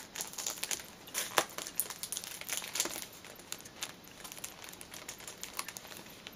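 Long green painted nails tap and scratch the front and sides of a tall, pale blue cardboard perfume box sealed in cellophane, held in both hands as it stands upright on a fleece cushion. The sound is a steady stream of bright, crinkly cellophane rustles broken by quick, dry taps, with a few sharper clicks standing out. The box stays closed throughout.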